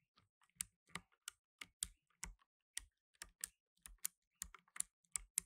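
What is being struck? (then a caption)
Plastic mechanical keyboard. Fingertips in blue nitrile gloves rapidly press the keys of a black plastic tenkeyless mechanical keyboard with plastic keycaps. About 16 sharp, bright clicks with a short low thump beneath each ring out at an uneven typing rhythm and stop instantly, with quiet gaps between them.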